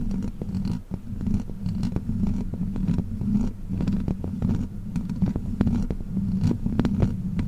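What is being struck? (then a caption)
Metal mesh microphone grille. Long black plastic fake witch-finger nails, worn on the fingers, scratch across the metal mesh grille of a large condenser microphone. The result is a steady, dense scratching with a heavy low rumble and hum near 200 Hz, broken by quick, sharp clicks throughout.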